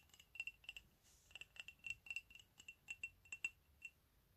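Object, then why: Ceramic coffee mug. An empty, hollow white ceramic mug printed with "COFFEE" is held in one hand and tapped with the fingernails of the other. About seventeen quick, light clicks sound in an uneven rhythm, each with a bright, glassy tick near 2.7 kHz. Each tap dies away almost at once, leaving only faint low background noise between them.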